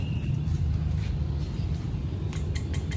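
On an overhauled Honda PCX 160 engine, the steel connecting rod on the crankshaft, whose pin and bearing are damaged, is knocked. Four sharp, bright metallic clicks ring out over a steady low hum. A sound-free knock would mean a good part, so this loud play shows a worn, failed bearing and calls for replacing the whole crankshaft assembly.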